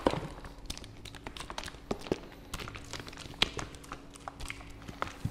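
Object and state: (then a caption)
Plastic fabric softener bottle. A medium white and blue hollow plastic fabric softener bottle, which seems to hold liquid, is held in one hand close to the mic and tapped and handled with the fingertips. Many quick, light plastic taps and soft knocks follow one another, with short dull thuds and a faint steady low hum underneath.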